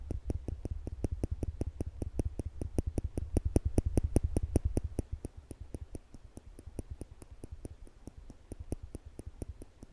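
Slim, polished stainless steel tweezers are held upright between the fingertips beside a microphone, and the arms are pinched so the metal tips tap and click against each other. A rapid, uneven run of short, dry clicks with bright high ticks and a soft low thump under each one continues throughout, growing quieter after the first half.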